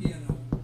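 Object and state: Baked-through bread loaf, hollow.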